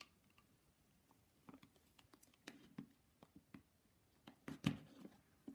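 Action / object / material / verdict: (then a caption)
tap / wooden nesting doll / wood / none. Fingers tap a painted wooden Russian nesting doll, a matryoshka, in a quiet room. Light, dry ticking taps come at irregular intervals with a soft low body and almost no ring. The last few taps are slightly stronger.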